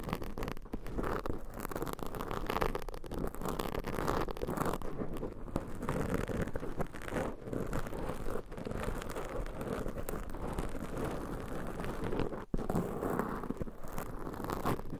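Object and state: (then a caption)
Foam microphone windscreen being scratched. Long pointed nails scratch and pinch two black foam microphone windscreens, producing a dense, continuous scratchy rustle with a soft crinkling texture. The sound is steady and close throughout, concentrated in the low and middle range with little high brightness, and briefly drops out near the 12.5-second mark before resuming.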